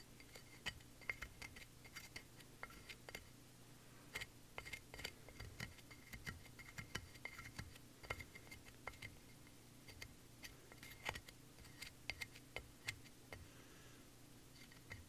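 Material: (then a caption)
Plaster. A pointed wooden pick scratches and scrapes the surface of a solid plaster gemstone dig block to dig out an embedded stone. Many sharp, dry scratching clicks and taps with a bright edge near 2 kHz die out almost instantly over a quiet, steady low hum.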